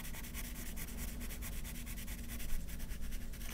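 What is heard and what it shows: A yellow wooden graphite pencil held in the fingertips shades and scratches short strokes on a thin white paper sheet lying flat on a wooden table, while the other hand holds the sheet still. A steady run of quick, dry, bright scratching strokes rises and falls over a constant low hum, ending with a slightly sharper stroke.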